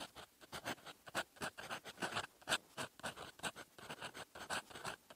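A metal fountain pen nib writes in red ink on a flat sheet of lined paper resting on a desk, with the same pen used throughout. The nib scratches across the paper in quick, irregular strokes, each a dry, bright rasp with little low end. The sound stays quiet overall, and each stroke cuts off sharply.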